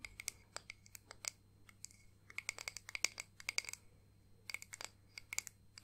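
Long painted nails tap and scratch a small, flat, solid clear acrylic disc ornament with pressed flowers and 'Nana' lettering. A rapid, uneven string of sharp, bright clicks with a tone near 2.2 kHz mixes with short scratchy bursts. Each click stops almost instantly, against a quiet, low hum.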